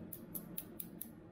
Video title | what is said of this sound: Vòi rửa chén âm tường cần lò xo Eurolife EL-RC10. Chất liệu Inox SUS 304 nguyên chất, không han rỉ. | Đĩa ceramic thì sẽ có tiếng kêu như vậy